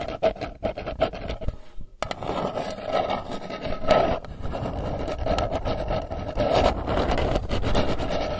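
Long nails scratch the printed lid face of a round, hollow metal candy tin held in both hands. Quick, separate scratching strokes give way after a brief pause near two seconds to steadier, continuous rasping. A hollow metallic ring hums around 600 Hz beneath the scratching throughout.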